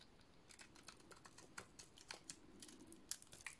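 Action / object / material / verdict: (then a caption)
scrape / painted soap bar cut with a metal blade / soap / none. A metal utility-knife blade shaves a dry, rectangular solid cream soap bar with a black, green-dotted painted coating. The result is a quiet run of quick, dry, crisp scraping clicks and crackles with a bright, high edge, each snap dying away almost instantly.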